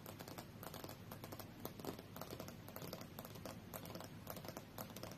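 Fingernails from both hands tap rapidly on the solid glass screen of a tablet lying face-up on a fur rug. The result is a quiet, steady patter of short, bright clicks, each fading almost at once, over a soft low background.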